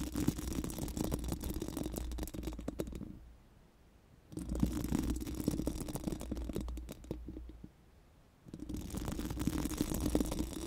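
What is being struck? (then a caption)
Metal mesh microphone grille rubbed with silicone brushes. Four pink silicone brush wands are rubbed and scratched against a round, hollow metal mesh microphone grille. The result is dense, rapid, bristly scratching with a strong low rumble, heard in three long bursts separated by two short quiet gaps.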